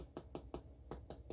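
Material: Bread crust.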